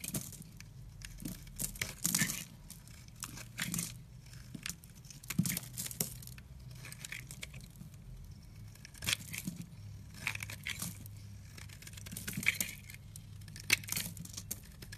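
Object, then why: Soap bar. A red-handled utility knife shaves and carves thick curls from a solid, rounded, hand-sized yellow soap bar held in one hand, with the shavings piling up behind. The clip is a run of dry, crisp scraping and crinkly tearing strokes with bright, papery detail. A steady low hum runs underneath.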